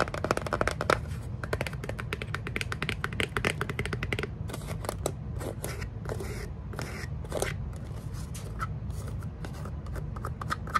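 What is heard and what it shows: A small, plain brown cardboard box, hollow and closed, is held in the hands and tapped and scratched with long acrylic nails. Rapid, dense clicking taps and scratchy scraping sounds come over a steady low rumble. The taps thin out into sparser, separate clicks in the second half.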